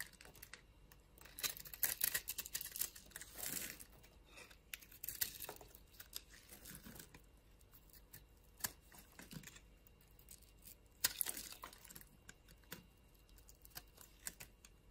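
A utility knife blade scrapes cubes and slices off a solid, palm-sized green bar of soap with a pre-scored grid, held in the palm. Quiet, bright, crackly scraping and crisp little snaps come in bursts, with louder flurries around 2, 3.5, 5 and 11 seconds.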